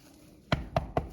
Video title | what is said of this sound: The National Trust Hardwick Hall a beautiful country house | if you tap it it sounds Hollow